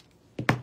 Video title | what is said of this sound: Valentine's Heart Wreath | can you hear it you shake it up it's got a little metal ball in there to shake up the paint